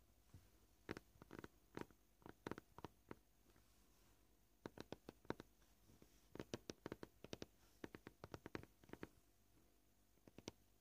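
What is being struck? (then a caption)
Plastic cutting board. Fingernails of both hands tap a flat, solid white plastic cutting board. The sharp, dry clicks come in irregular bursts of varying pace, separated by quiet pauses, with a bright, brief attack and almost no ring.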